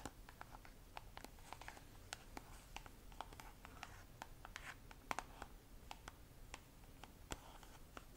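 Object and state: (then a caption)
Plastic cosmetic tube. Long nails tap and scratch along an orange squeezable plastic cream tube with a white cap, held in both hands. Many quick, dry clicks with no ring rise over a soft, continuous scratching and a low, quiet background hum. The taps are bright and crisp but the overall sound stays very quiet.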